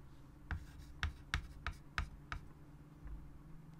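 A hand writes with a white chalk stick on a large, flat chalkboard set in a wooden frame. Six short, sharp chalk strokes tap against the board, each with a dull low thump and a brief bright click that dies away at once, over a quiet, steady low hum.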